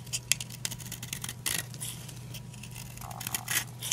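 A utility knife blade scrapes and cuts brittle flakes from a solid blue oval dry soap bar held in the palm. It makes a string of short, dry, bright scratching clicks with a few sharper snaps. A steady low hum runs underneath.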